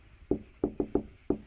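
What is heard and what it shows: Five knocks on a large front door to announce an arrival, landing at uneven intervals with the second through fourth close together. Each knock is a short, dull, mid-pitched thud that dies away almost at once, with faint background noise between the hits.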